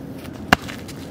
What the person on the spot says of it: Sounds like glass. We're finding some flint.